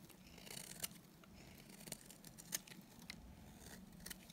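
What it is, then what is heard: Dry bar soap being shaved. A solid, dry green bar of soap held in the hand is shaved with a utility knife blade, producing quiet, dry scraping strokes. Soft, bright crackles and crisp peaks sit over a steady low murmur.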